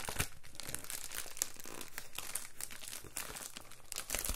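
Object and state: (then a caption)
Plastic bubble mailer being crinkled. An Amazon Prime padded poly bubble mailer is handled, lifted and rubbed with fingertips along the seal area. It makes continuous dense plastic crinkling with bright, crackly bursts and some possible tearing. The sound runs steadily without a clear pause.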